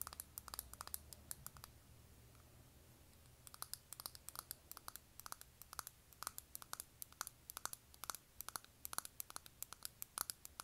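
A small, closed, hollow octagonal makeup compact of metallic plastic with a silver finish is held in the hands and tapped and scratched on its lid with long nails. Dozens of quick, sharp, bright clicks come in uneven bursts, with a short stretch of soft scratching around the two-to-three-second mark before the tapping resumes. Each click is dry and dies away instantly.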